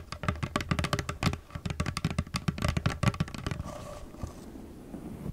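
Long nails tap rapidly on the sides of a hollow, nearly empty clear plastic cosmetic bottle, producing about 22 short, dry, hollow clicks with a low thump and almost no ring. The tapping runs for about three and a half seconds, then gives way to faint, softer rustling until the end.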